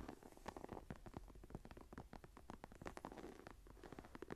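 Long nails scratch and tap rapidly across the textured cover of a closed brown leather journal embossed with a tree pattern, lying on a table. The result is a quiet, dense patter of short, dull taps mixed with soft scratching, weighted toward the low end and with almost no high brightness.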